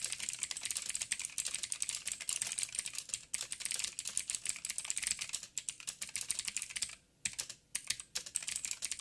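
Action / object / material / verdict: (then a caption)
tap / plastic mechanical keyboard / plastic / none. Fingertips of both hands type steadily on a backlit 87-key mechanical keyboard with plastic keycaps and clicky blue switches. Fast, bright, sharp clicks follow each other with very little ring, pausing briefly near the seven-second mark before a few final keystrokes.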